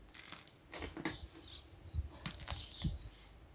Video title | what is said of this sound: Bestes knetfreies Mischbrot, Übernachtgare (Anfänger geeignet!) #131 | only when it sounds hollow then the bread is really done and ready Now listen to how crazy crispy it has become